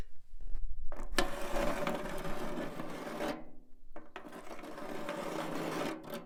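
A nail worn on a fingertip taps and scratches a rusty metal can. A few light taps are followed by two long, gritty scraping strokes with a dry, rasping metallic texture.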